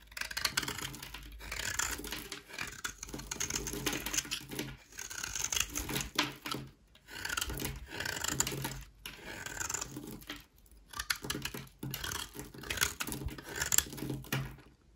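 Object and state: Dry bar soap.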